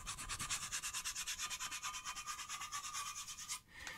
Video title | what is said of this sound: Luthiers Question Time Live 59 - The Guitar Building Q&A with Ben Crowe | you can hear that and there's no real changes there